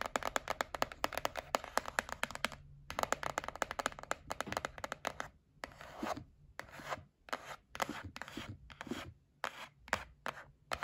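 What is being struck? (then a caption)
Cardboard gift box. Long nails tap and rub the lid of a white printed cardboard gift box held up in the hands. Quick, dry clicking taps run in dense bursts with a short pause, then give way to softer, scratchy rubbing strokes in separate bursts with brief silences between.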